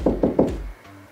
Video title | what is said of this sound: Vivo Wall Mount Installation for Monitor - MOUNT-V201A - 5 Star Review | you hit the stud it gets less hollow